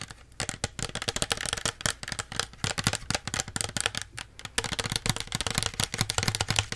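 Long nails tap quickly on a small plastic Pepsi bottle with its label on, making a dense run of crisp, hollow clicks. Each tap is short and bright, with a faint low body underneath, and the taps blur into an uneven, rapid patter.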